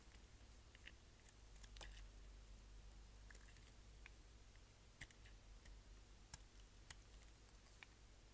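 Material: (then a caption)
Soap. A solid green striped bar of soap, held in the hand, is shaved with a utility knife blade as flakes fall away. Quiet, crisp scraping clicks and soft crackles come in irregular bursts over a steady low hum.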